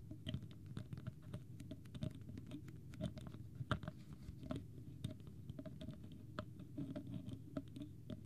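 Fingernails rapidly tap and scratch the plastic cap and body of a small, clear, partly full plastic water bottle with a green label. Quick, light clicking taps fall close together over a soft, continuous scratchy rustle, staying quiet and steady throughout.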